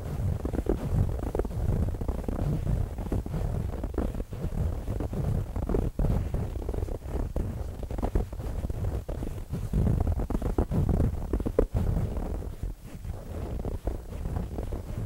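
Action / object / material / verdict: scrape / stuffed fabric cushion / fabric / none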